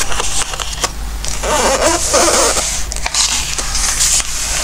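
Fingertips slide and rub across the glossy paper pages of an open Christmas craft book, then turn the pages. Soft, steady papery swishing and brushing fills the clip, with bright hiss and a few sharper rustles and flicks as pages move, over a low background hum.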